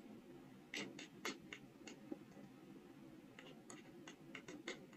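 A steel carving knife with a wrapped handle scrapes and scratches characters into the face of a small, solid, square soft stone seal block, about 2–3 cm, held in the fingers. A series of short, dry, bright scratches with very little ring rises over a quiet, steady hiss.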